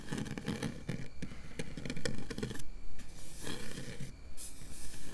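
Long nails scratch and scrape across a round, hollow metal mesh microphone grille with the fingers curled. The result is a dense, bright, raspy scratching broken into quick strokes over a low rumble, with a few short pauses and swells along the way.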